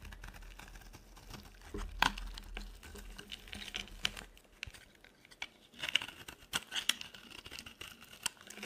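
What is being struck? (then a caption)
Soap bar. A metal blade carves a solid, oval, dry yellow soap bar, shaving off crisp curls. Quiet, bright scraping and crackling is punctuated by sharp little snaps and clicks as the shavings break away, with a faint low hum under the first half.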